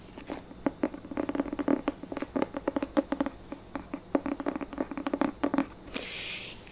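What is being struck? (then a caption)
Hardcover paper book with cardboard cover. Long painted nails rapidly tap and scratch the glossy cover of a solid pink hardcover paper book with a cardboard cover, held up in both hands. Around thirty short, dry clicks with a hollow mid-toned knock patter across the clip. It ends in a brighter, softer scraping hiss.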